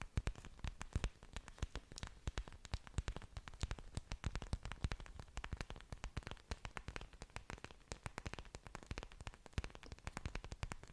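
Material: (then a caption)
Plant leaf. Long dark nails scratch and tap the large, thick, waxy green leaves of an orchid plant with exposed aerial roots, held close to the microphone. The result is a rapid, continuous stream of short, dry clicks and scrapes with a deep low thump beneath a faint bright crackle, each hit dying away almost instantly.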